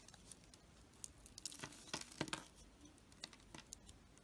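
A knife scores a solid oval bar of gold-coated soap, held in the hand, into small cubes and shaves them off. The soap cracks and crumbles in a quiet run of crisp, bright snaps and crinkly crackles that cluster most densely around the middle of the clip.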